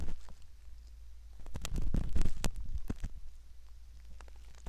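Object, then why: Silicone ear model scraped with a metal ear pick. A curved metal ear pick scratches and rubs inside the canal opening of a soft silicone ear model. Heard up close, it makes soft, crackly scraping with brief bright ticks over a low, steady rumble, growing busier and louder in the middle before settling back down.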